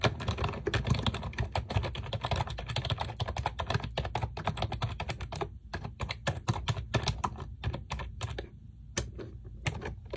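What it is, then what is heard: Plastic computer keyboard with round keycaps. A pink plastic computer keyboard with round keycaps, resting on a desk, is typed on rapidly with long nails and fingertips. A dense stream of quick clacking keystrokes with bright clicky tips over a low, hollow thud fills the first half. It then thins into sparser, separated taps with short pauses between them.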